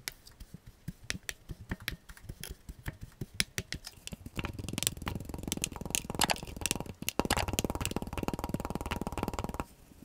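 Blue kinetic sand chunks in a clear glass mug, held by a gloved hand, are pressed and crushed with a black tamper tool. Sharp, dry crunching clicks come first in separate bursts, then a denser, fuller crackling grind as the sand is packed down, easing off at the end.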